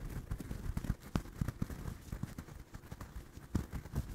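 Fingertips and nails scratch and tap the yarn surface of a small, soft, stuffed orange crocheted doll held close to the mic. The result is a quick run of dull, muffled taps and soft rustling scratches, mostly low in tone with very little brightness, each touch dying away almost instantly.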